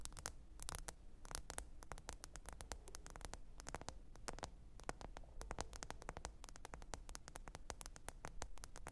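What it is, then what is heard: Smartphone glass screen tapped. Long pointed nails tap the glass screen of a small, thin, solid black smartphone lying flat and screen-up on faux fur. The result is a fast, irregular stream of short, dry, bright clicks with almost no ring, sitting over a steady low hum.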